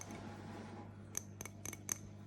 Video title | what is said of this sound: Sort jewellery with me 🙌 | It sounds like glass more than ceramic.